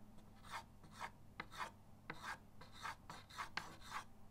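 The side of a white chalk stick is rubbed in quick hatching strokes across a flat, solid chalkboard in a wooden frame resting on a table. Nine short, dry, raspy scrapes are heard, each a bright, gritty burst with a low steady hum beneath.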